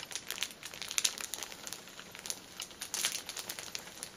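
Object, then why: Cellophane-wrapped pack of paper tissues. Long painted nails tap and scratch the cellophane wrapper of a plastic-film-wrapped stack of filled paper pocket tissue packets resting on a table. A quiet, bright, dense run of crinkles and crisp ticking taps with almost no low end, each sound dying away instantly.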